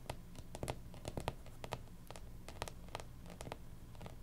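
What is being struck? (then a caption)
Cardboard-covered hardcover planner. Long pink nails tap and scratch across a closed, striped 2019-2020 hardcover planner with a cardboard cover, a solid book lying flat. Quick, dry clicks with bright edges stand out from softer scratching over a steady low hum, then die away almost instantly.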